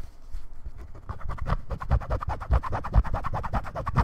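A brown bifold leather wallet, held in both hands, is scratched and tapped with fingertips and nails across its outer surface. Soft, dull scratching starts quietly, then after about a second becomes a dense run of quick scratches and muffled low thumps in an uneven rhythm. Each touch is dry and short, with no ring.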